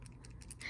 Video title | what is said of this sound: My Cube Collection (75 Sub Special) | I don't know if you guys can hear that but there is something loose inside the cube